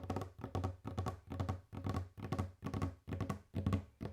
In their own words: ASMR | Tapping on wooden table / ASMR | Tapkanje po leseni mizi